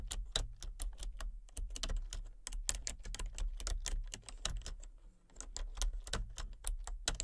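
Fingertips type rapidly on a full-size plastic computer keyboard with a colour-changing backlight. Sharp, bright key clicks come in quick irregular bursts over a low steady hum, with a brief lull about five seconds in before the tapping resumes.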